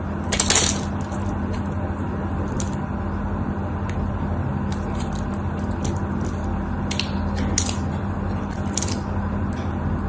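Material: Soap.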